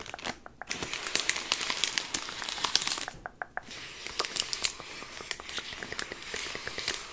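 Fingertips with long nails rub, scratch and crinkle the bronze metallic foil, with its printed label, wrapped around a large chocolate Easter egg standing upright on a desk. The result is a steady, bright, crisp crinkling packed with sharp crackles and snaps, with two brief quieter lulls near the start and in the middle.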